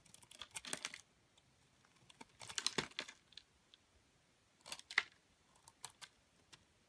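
A metal utility blade carves and scrapes flakes off a solid white bar of soap with remnants of blue coating, held in the hand. Crisp, bright, dry scraping bursts come in short clusters with quiet gaps between them. Each burst ends in small scattered ticks as the flakes come away.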